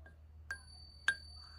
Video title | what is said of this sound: 签字版大头鉴定合集！百岁老人留几百枚传家宝，估价值几百万【小闫打铁镯】 | Das Geräusch von Silber klingt wie Silber